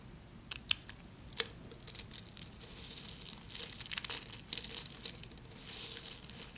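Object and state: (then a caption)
Soap shavings being crumbled. Thin, solid pink soap shavings piled on white paper are broken and crumbled between the fingertips of both hands. Soft, bright crinkling and crackling runs throughout, with a few sharper snaps standing out early on and near the middle.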